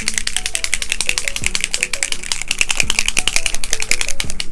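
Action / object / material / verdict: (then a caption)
shake / mica stain spray bottle / unknown / none. A Frosted Juniper mica stain spray bottle is shaken to mix its contents before spraying, producing a fast, uneven rattle of sharp clicks and taps. Tonal music plays underneath.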